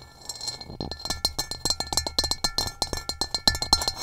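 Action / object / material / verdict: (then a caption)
tap / upside-down rough ceramic bowl / ceramic / none. Long nails tap and scratch the base of an upside-down, hollow, gray rough-textured ceramic bowl. About 25 quick, uneven taps give short, bright clinks with a faint high ring and a light scratchy texture, each dying away almost at once.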